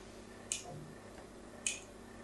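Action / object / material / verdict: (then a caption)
scrape / bar of soap scratched with a pointed metal tool / soap / none. A solid pink "Absolut" bar soap held in the hand has its surface scratched with a pointed metal tool. Two short, bright scratching ticks are heard about a second apart, with tonal energy near 2.5 kHz. Each dies away quickly against a quiet, steady background.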